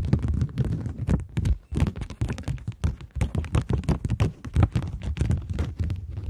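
Long nails rapidly tap and scratch the face of a flat polymer plastic £20 banknote held in both hands. The result is a dense run of short, dull, low taps with brief scratchy edges, each dying away almost at once.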